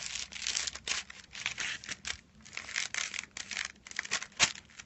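Fingertips tap and rub across a flat rectangular package wrapped in crinkled silver aluminium foil lying on a white cloth. The result is a fast run of bright, dry crinkling and crackling bursts that swell and fade irregularly, with almost no low end and no ringing after each touch.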